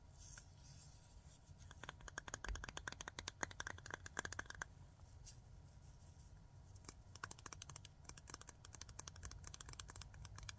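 Fingernails tap quickly on the aluminium screw lid and glass of a small clear glass jar full of glitter. Two bursts of sharp, dry clicks with almost no ring rise over a steady low background hiss.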